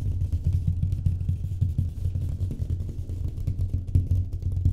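Fast tapping on a drywall wall surface produces a rapid, continuous patter of dull, low thuds. The sound centers around 90 Hz, with almost nothing above the low range, and each tap dies away almost at once.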